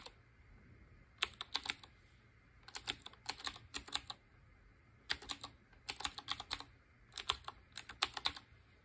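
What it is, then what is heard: Mechanical keyboard being typed on. Fingertips with short painted nails type on a black Qwerkywriter BIOHAZARD collaboration retro typewriter-style mechanical keyboard with round chrome-ringed keycaps. Bursts of quick, bright, clicky keystrokes come in short runs separated by brief pauses over a quiet, low background hum. Each key press is sharp and dies away almost instantly.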